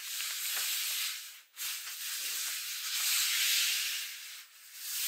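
A "Happy Fall" paper greeting card lies flat while long acrylic nails scratch and tap across its cover and inside. The sound is a steady, bright, hissy scraping with almost no low end. It dips briefly to near silence twice as the nails lift off.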